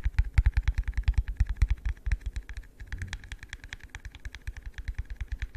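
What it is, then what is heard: Hollow empty plastic cup. A hollow, empty yellow translucent plastic cup held in the hand is tapped with the fingertips in quick, uneven bursts. Each tap makes a soft, dull, low thump with a short bright click on top, dying away almost instantly, over about five and a half seconds.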